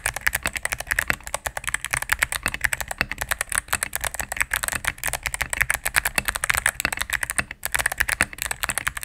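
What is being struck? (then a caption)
Mechanical keyboard, plastic keycaps and case. Rapid typing with fingertips and medium nails on a cream full-size mechanical keyboard with plastic keycaps on a solid plastic case. About 60 sharp, quick-decaying keystrokes come in a steady, dense stream. They sound bright and clacky, with a strong upper-midrange snap and little low end.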